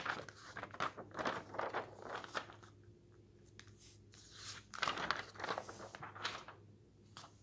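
Fingertips flip the pages of a thin glossy paper magazine lying open on a wooden table and rub them flat. Quick bursts of crisp rustling and crinkling are followed by a quieter pause with only a faint low hum, then more papery swishes and rubbing.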